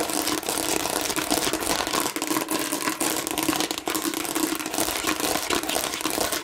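Long nails rapidly and roughly scratch a hand-sized, hollow plastic watermelon-shaped bottle with raised seeds and a flat red side. The result is a dense, continuous, bright crinkly scratching with a faint hollow tone underneath and almost no low end.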